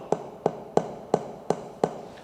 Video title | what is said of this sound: Genoise - The Lean Sponge (Vanilla) | you need to check that air is still in the batter. You can check there's a hollow sound.